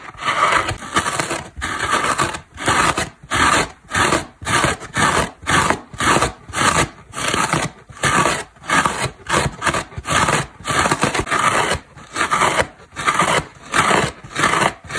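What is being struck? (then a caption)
Synthetic foam car sponge. Long black nails repeatedly scratch the side of a large, dry synthetic foam car sponge, a solid porous block with a cord attached. Each stroke makes a short, dry, rasping scrape, repeating in quick, uneven bursts with brief silent gaps. The tone is centred around 1.2 kHz with bright hiss above and little low end.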